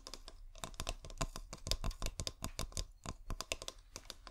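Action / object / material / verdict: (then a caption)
tap / glass bottle / glass / none. A fingernail taps rapidly and unevenly on a clear, hollow, bulb-shaped glass bottle with fairy lights inside, held upright. The taps are quick, dry clicks that stop almost at once, with a bright top and a dull low thump under each.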